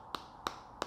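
Three light taps on the plastic back cover of a TCL 10 SE smartphone, each a short, dry, hollow click with almost no ring. The cover gives a plastic sound and flexes inward when pressed lightly, a sign of cheap, low-quality material.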